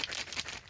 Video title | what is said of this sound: Making Gourd Canteens | as you can hear, it's hollow except for some of the seeds inside